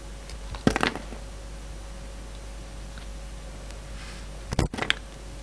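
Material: Soap.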